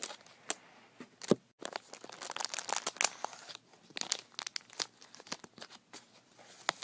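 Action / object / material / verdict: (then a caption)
scrape / plastic bag holding glass marbles / plastic, glass / none. Fingertips squeeze, crinkle and twist a small white translucent plastic bag full of glass marbles, tied with red string and sitting on carpet. Dry, bright plastic crinkling comes in quick irregular bursts, with sharp short clicks from the marbles shifting against each other inside.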